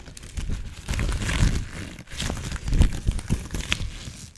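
A thin blue nitrile glove, held loose in the hands rather than worn, is crumpled, crinkled and rubbed between the fingers and fingertips. Soft, rustling crinkles and low rubbing noises come in uneven bursts with brief pauses, dominated by dull low tones with faint bright edges.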